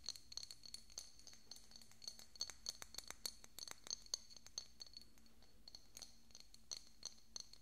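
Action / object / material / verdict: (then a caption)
tap / small glass bottle with cork stopper / glass / none. A small, hollow, decorative pink glass bottle with a cork stopper is held beside the microphone and tapped with fingernails. The taps come as a quick, irregular stream of sharp, quiet clinks, each with a brief, bright glassy ring over a faint low hum.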